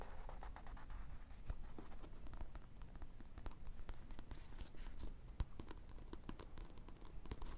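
A small, solid paperback book with a paper cover is held in the hands and stood on a table while fingertips and nails scratch and tap its cover and spine. The result is a quiet, steady papery scratching dotted with many short, sharp taps that die away instantly over a low, dull undertone.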